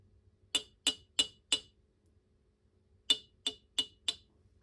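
A questionable emu egg, one that smells different but not rotten, is tapped in two groups of four, giving eight short, bright, china-like clinks with very little ring. The porcelain-like sound is clearly different from the solid sound of an egg with a chick inside.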